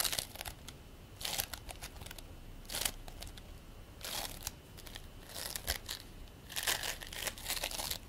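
A ball of purple and white polystyrene bead play foam, held in both hands, is squeezed and rolled by the palms and fingers. It makes bursts of bright, dense crinkling and crackling separated by quieter stretches of soft rustling, with almost no low end.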